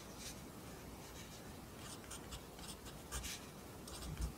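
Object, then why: Graphite pencil on paper notebook page. A wooden pencil held in the fingers writes across the right-hand page of an open lined paper notebook on a desk, its graphite tip scratching over the paper. Quiet, irregular bursts of bright, dry scratching rise over a steady low rumble, with a few slightly louder strokes near the end.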